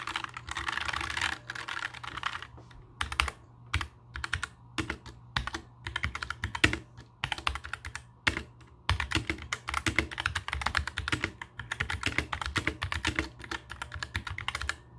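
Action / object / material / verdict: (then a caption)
tap / plastic mechanical keyboard / plastic / none. A compact black mechanical keyboard with plastic keycaps sits on a table while fingertips type rapidly across the keys. Bursts of quick, bright, dry clacks come in runs separated by short pauses, over a faint steady low hum.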